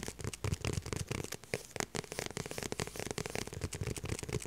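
Long purple nails tap and scratch the back of a small, light blue, structured faux leather handbag held up in the air. The result is a rapid run of sharp, dry clicks and crackly scratches, with a low thump under the taps and bright scraping over the top. Each sound stops almost instantly.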